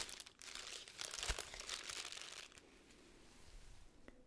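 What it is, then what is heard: Tissue paper honeycomb ball being crinkled. A small magenta tissue paper honeycomb ball with white cardboard end pieces is folded and unfolded by hand, its paper cells crinkled by nails and fingertips. A dense, bright crinkling and crunching rustle peaks around the first second and a half, then fades to softer, quieter rustling with a faint tap near the end.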